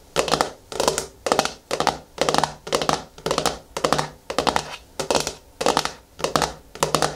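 Long nails tap and scratch the flat top of the screw lid on a medium yellow-and-white plastic Garnier Fructis hair-mask jar standing on a wooden table. The sound comes in short, bright, crackly bursts of scratching and clicking, repeating about every half second with brief quiet gaps between them.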